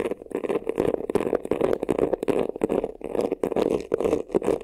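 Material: Faux leather.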